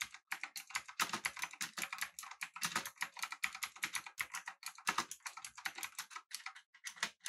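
Both hands type with their fingertips on a full-size, backlit, typewriter-style mechanical keyboard with an aluminum body and round plastic keycaps. A steady, rapid stream of short, crisp, bright keystroke clacks plays with little low end, each dying away almost instantly.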